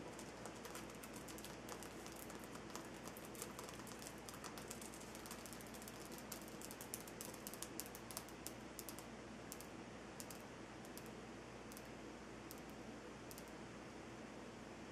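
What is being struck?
Rock-salt lamp.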